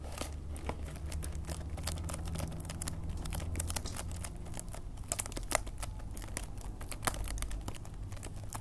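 A small green cardboard candy box in clear plastic wrap is held in hands while fingernails scratch and tap the film. Dense, quick crinkling and sharp ticking clicks sit over a steady low hum, with a few louder taps standing out.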